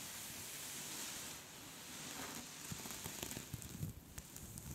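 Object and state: Knitted scarf being scratched.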